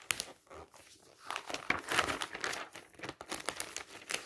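Fingertips grab and flip the thin glossy pages of a thick glossy paper travel catalog lying open on a magazine stack, one page after another. Quick bright rustles and crinkles overlap in a busy, crisp texture with almost no low end.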